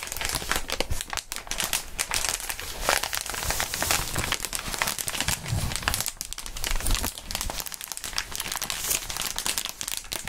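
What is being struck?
Inflated plastic air column packaging.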